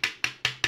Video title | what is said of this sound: Elevator Relay Tester for Relay Logic types. Arduino & More DIY | you can hear the coils very loud if I shake it up